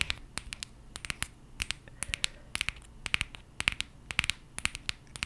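A small gold and green aluminum coffee capsule, held in both hands in front of the mic, is scratched and tapped with long painted nails. The result is a quick, irregular run of 29 sharp, bright clicks and scratchy ticks that die away almost instantly, with very little low end.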